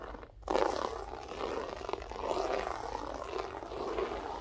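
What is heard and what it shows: Long nails scratch and rake across a grey loop-pile berber carpet floor, using a single finger and then the whole hand. After a brief quiet start, a dense, rough scraping texture sets in and continues with uneven swells, strongest in the low midrange.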